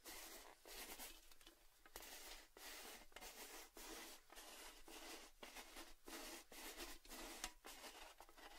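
An orange, hollow, cylindrical Baileys metal tin is held and set down between microphones while fingertips and nails tap its top rim and sides. The result is a steady run of quick, bright, tinny taps with short rings and scratchy rubbing between them.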